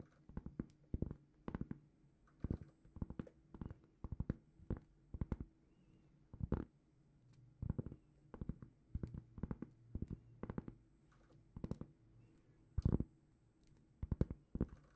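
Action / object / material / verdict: tap / round flat cork board / cork / none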